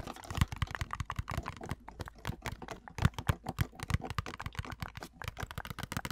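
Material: Plastic.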